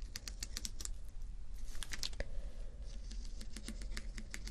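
Fingertips and nails tap and scratch across rows of small acrylic rhinestone sticker strips, giving quick, dry, clicky ticks with bright edges. The ticks come in irregular bursts like fast typing over a steady low hum, and each one stops almost instantly.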